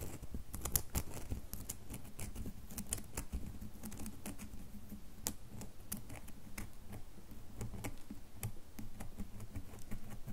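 Long nails tap and scratch the face of a solid red bar of soap held in a hand. The result is a steady run of quick, dry, bright clicks and light scratches that stop short with no ring, over a low, soft rumble.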